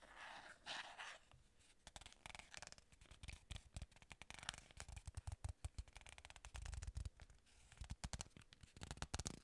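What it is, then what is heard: Cardboard box. Long nails and fingertips tap, scratch and firmly grip the flat surfaces of a small, plain, hollow white paperboard box. The result is a quiet, close run of many crisp, dry clicks and light sticky taps mixed with bright scratching and rustling. Hollow low thumps come through on the firmer grips, and each sound stops almost instantly.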